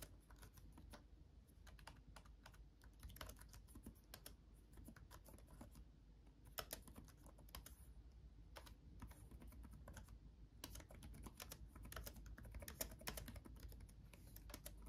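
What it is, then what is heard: Plastic laptop keyboard being typed on. Both hands type fast with their fingertips on a backlit laptop keyboard with plastic chiclet keys. The result is a continuous run of quick, light, clicky taps with bright, short transients that die away almost instantly, over a steady low hum.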